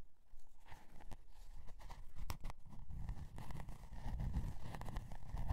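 Long dark nails scratch and tap the scale-pattern cardboard cover of a spiral-bound notebook with metal spiral binding. The sound is quiet and low-heavy: a dull, continuous scratching rustle broken by short, sharp taps that die away almost instantly.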